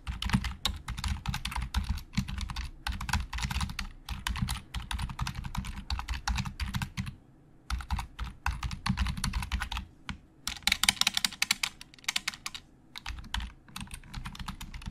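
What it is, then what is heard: Plastic computer keyboard. Fingertips type on a black plastic Logitech keyboard with hollow plastic keys, giving a rapid stream of short, dry clicks with a low thud under each press. Bursts of fast typing stop briefly near 7.5 and 10 seconds before resuming, with one stretch of brighter, sharper taps.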